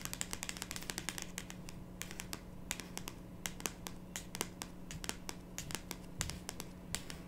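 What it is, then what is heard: Cardboard card deck box. Long pink nails tap and scratch the top of a small, closed, pink printed cardboard card box holding cards and resting on a wooden table. Dozens of quick, dry, bright clicks and short scratches sound over a quiet, steady low hum.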